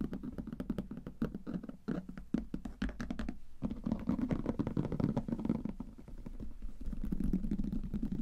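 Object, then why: Leather briefcase. Fingertips and nails tap and scratch across the top of a closed, hollow brown leather briefcase with metal clasps lying flat on a table. A steady stream of quick, soft, dull knocks with a low-mid body and almost no ring is mixed with faint scratchy rustle, with a brief lull just before the middle.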